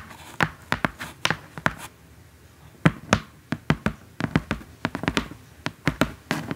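Long acrylic nails tap on the printed top surface of a large, flat, hollow brown corrugated cardboard box. The result is a run of short, dry taps with a low hollow body and quick decay, broken by a brief pause around the two-second mark before the tapping resumes in quicker bursts.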